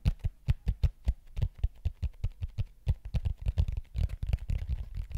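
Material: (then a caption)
Plastic. Fingertips tap and scratch across the surface of a large, thin, hollow-curved neon green plastic plate or frisbee held over a microphone. A quick series of dull, low, thumpy taps with almost no ring begins evenly spaced, then crowds into a denser, rustling scratch toward the end.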